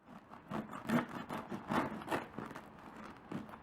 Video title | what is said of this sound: Mumbai Pav Recipe - Brun (Kadak) Pav - Ladi pav - Eggless Pav - Homemade vegan bun (bread/roll) | Turn up your volume and hear how crispy they have turned out